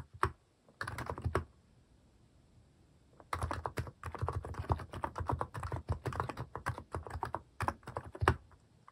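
Fingertips type quickly on a cream plastic mechanical keyboard fitted with plastic cat and paw keycaps. Bursts of short, dull keystroke clacks come in quick runs, with a pause of near silence after the first second before a longer flurry of typing.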